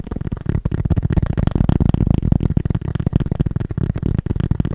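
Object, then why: Cork surface. Fast tapping on cork produces a rapid, continuous stream of dull, muffled taps. The sound is low and thuddy with no ring, each tap dying out instantly.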